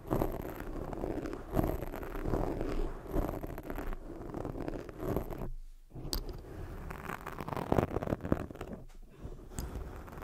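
Long fake nails scratch a black foam microphone windscreen, then fingertips rub and cup it. The result is a continuous low, muffled scratching and rubbing texture with soft swells, a brief near-silent dip when the foam is cupped, and faint high hiss on top.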